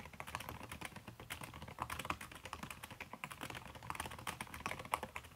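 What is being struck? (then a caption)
Laptop keyboard keys under a silicone cover. Fingertips with long red-painted nails type fast on a backlit aluminium laptop keyboard whose plastic keys sit under a red silicone skin. A steady, dense stream of soft, muted key taps blends with occasional brighter nail clicks, each one short and dry with almost no ring.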